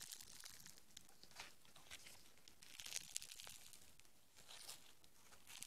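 Green foam bead clay is stretched into a long strand, then balled up and squeezed between the fingertips. It gives quiet, bright crackling, tearing and crinkling sounds, with dense clusters of short, high snaps over a low background hiss.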